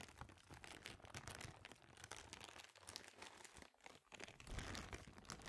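An empty, clear, thin plastic bag is pulled, stretched and crinkled with both hands. It makes a dense, continuous, bright crackling and rustling with quick irregular crunches, briefly easing off just before the four-second mark before picking up again.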